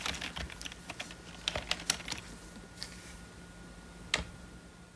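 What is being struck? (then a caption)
Plastic membrane computer keyboard. Gloved fingertips type slowly on a hollow, full-size black plastic membrane computer keyboard, pressing single keys. The result is a run of soft, bright, dry clicks that fade almost instantly, bunched early, then spaced out, with a last sharp tap near the end over a faint steady hum.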